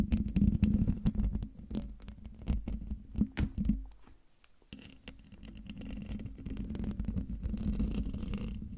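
Fingernails and fingertips scratch and tap the hollow, domed metal mesh grille of a silver microphone, close up. The result is dense, irregular scratching and patter with a heavy low rumble. The sound drops to near silence for a moment midway, then resumes as a steadier, continuous rasp.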